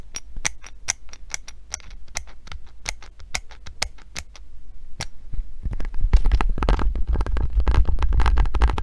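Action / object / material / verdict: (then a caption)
tap / hand grip trainer with foam handles and metal coil spring / metal, foam / none. A hand gripper with pink foam handles and a metal coil spring is held in one hand while long painted nails tap its spring and handles, giving sharp, bright, separate clicks over a low hum. Partway through, the taps turn into denser, louder scratching that rasps steadily until the end.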